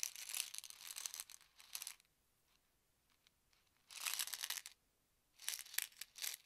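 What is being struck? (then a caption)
Plastic pill bottle. Fingertips and short nails scratch the label of a small white plastic Advil ibuprofen bottle with a yellow cap, hollow and partly filled with tablets, as it is held in both hands, turned and lightly shaken. Three bursts of bright, dry, crinkly scratching and faint tablet rattle are heard, separated by near-silent pauses.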